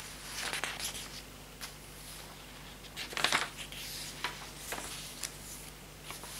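A hand turns and riffles the lined paper pages of an open hardcover notebook with a green patterned cover, using its fingertips. Bright, dry paper-against-paper rustles and soft flutters come in irregular bursts, with the loudest swish near the middle, over a faint steady low hum.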